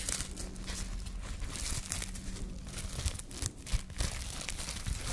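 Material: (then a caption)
Plastic film. A small loose ball of thin clear plastic cling film is held in both hands and crumpled, squeezed and rubbed between the fingertips and long nails. It makes a steady, dense crinkling with bright, crackly texture over a low rumble, with a few sharper crunches near the end.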